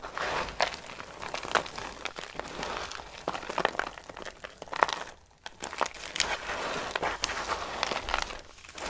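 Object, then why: Soap shavings. Dry soap shavings are squeezed into a clump and crushed, then pressed with fingers. Dense, bright crackling and crunching continues throughout, briefly dropping to near quiet around five seconds before resuming.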